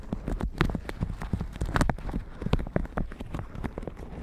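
A plastic shower cap stretched over a microphone is tapped and brushed with a red silicone bristle brush. A rapid, uneven series of soft, dull taps and thumps comes through, heavy in the low end with faint crinkly brushing between them.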